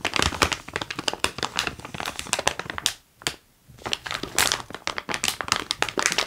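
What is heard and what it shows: A medium-sized clear plastic bag full of wax-paper-wrapped taffy pieces is held in both hands and crinkled and squeezed with fingers and palms. Dense, bright crackling crinkles come in rapid bursts, with a brief near-silent pause in the middle before the handling resumes.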